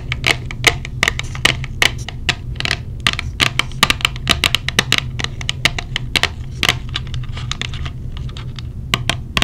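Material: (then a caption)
Plastic. Long blue nails tap rapidly and irregularly on a small, hollow, clear plastic case holding silicone earplugs. Each tap is a sharp, bright click with almost no ring, centered around 1.9 kHz. A steady low hum runs underneath throughout.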